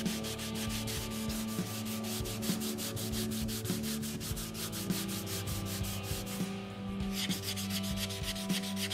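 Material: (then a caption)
Wood. A hand pushes a black-and-red rubber sanding block with sandpaper back and forth along the flat face of a solid, light wooden Telecaster guitar neck lying on carpet. Steady, rhythmic rasping scrapes with a bright, gritty edge repeat throughout, over a constant low tonal hum.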